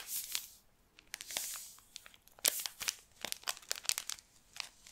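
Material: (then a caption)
Plastic, sand. A small clear plastic bag filled with pink kinetic sand is held in both hands while fingertips squeeze and rub it, crinkling the plastic. The sound is quiet and almost entirely high-pitched: soft hissing swells broken by a rapid series of sharp, bright crackles and crunches that die away almost instantly.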